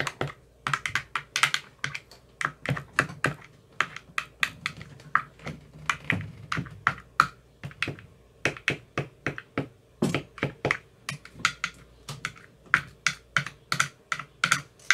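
A white-tipped metal rod taps into the green silicone cells of an empty clear plastic ice cube tray. About fifty short, crisp taps follow in a steady, uneven rhythm, each with a bright, clicky attack centred near 1.4 kHz and a soft, dull body. Every tap dies away almost instantly.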